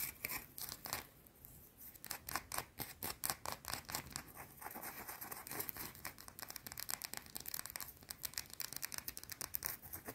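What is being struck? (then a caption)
Solid round bar of soap. A small, solid, round white soap bar is scratched aggressively with long blue-painted nails. Fast, bright, dry scraping strokes come in quick bursts, each dying away almost at once, with a busy stretch of rapid scratching in the middle and repeated sharp scratches toward the end.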